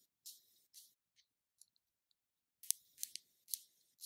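Long nails tap and scratch the closed lid and base of a small round black plastic NYX concealer jar. The clip is quiet and made of short, bright, irregular clicks and scrapes with no low end.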